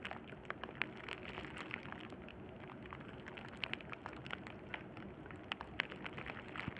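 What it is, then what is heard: Plastic bubble wrap. A sheet of clear plastic bubble wrap lies flat on burlap while both hands rest on it and fingertips with short-medium nails press, scratch and pop its air bubbles. The result is a steady, quiet, rain-like crackle broken by scattered sharp, bright pops that die away almost instantly.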